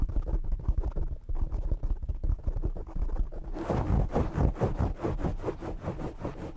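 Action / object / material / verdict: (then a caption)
scrape / foam microphone windscreen / foam / none. A black foam windscreen on a desktop microphone is scratched with the fingernails of both hands. It makes rapid, muffled, bass-heavy rubbing and scratching bursts. About halfway through, the strokes turn fuller and rougher, settling into a steady rhythmic scrubbing.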